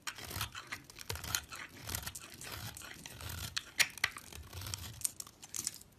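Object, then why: Bar of soap scraped with a metal blade. An orange soap bar with a dark rim, held in the hand, has its flat face scraped into curly shavings with a metal utility knife blade. The scraping gives a continuous dry, crunchy, tearing rasp that is mostly bright and high. Several sharper crisp snaps stand out near the middle of the clip.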